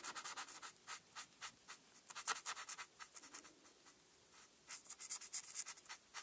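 A marker tip is drawn across a flat printed paper coloring sheet in short rubbing strokes to color black stripes, held by a hand with long red nails. Quick bright, scratchy strokes come in rapid bursts, with a brief quiet pause in the middle before the scratching picks up again.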